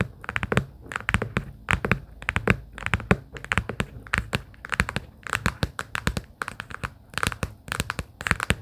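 Long pink acrylic nails tap and lightly scratch a small, hollow, closed pastel plaid cardboard sticky-note booklet case. Quick, dry clicks come in uneven clusters with almost no ring, each with a bright edge over a hollow low thump, and soft scratching fills the gaps.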